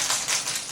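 A child shakes a plastic egg with small jingling contents to find the egg whose jingle matches. A bright, high, continuous jingling rattle fills the clip, with almost no low end. The egg is confirmed as the match for the jingle.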